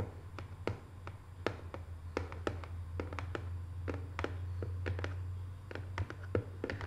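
Long nails tap the lid of a small, closed, hollow rectangular decorative cardboard box covered in Paris photo prints. They make soft, quick, dry clicks that die away almost at once, over a steady low hum.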